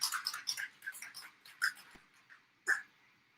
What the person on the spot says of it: you can hear that little ball in there that rolls around